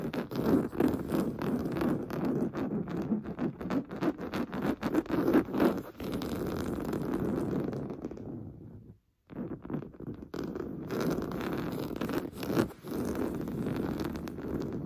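Short painted fingernails scratch fast and aggressively across the top of a large, soft, stuffed beige woven-fabric sofa cushion. The result is a dense, rough, rustling scratch, mostly low and mid-toned, that breaks off briefly to silence about two-thirds through before resuming at the same pace.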